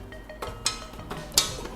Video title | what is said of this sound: ที่วาง Laptop (โน๊ตบุ๊ค) สุดยอดพรีเมี่ยม Clearance จบ ๆ ไปที่ 799.- ส่งให้ฟรีถึงบ้าน | เสียงแน่นนะฮะ